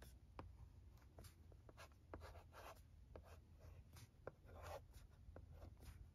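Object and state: Plastic LCD writing tablet.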